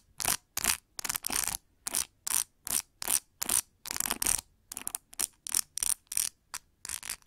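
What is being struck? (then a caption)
Plastic paddle hair brush with rubber cushion and plastic pins. Long nails flick and scratch across the plastic pin tips of a large metallic pink plastic paddle hair brush with a white rubber cushion. There are 19 separate short bursts of dry, bright, crackling scratching, with almost no low end and quick decays, and silence between each one.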